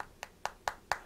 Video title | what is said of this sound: HDC Nano One - HTC One M7 Clone: Full Review | that feels like a solid piece of aluminum